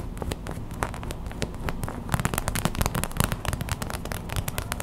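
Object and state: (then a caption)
Plastic gel bead pack. A small clear plastic hot/cold pack filled with white gel beads lies on a towel and is tapped fast with long white acrylic nails. Rapid, sharp, crackly clicks ring out over a low, dull rumble. The taps grow denser and louder about halfway through.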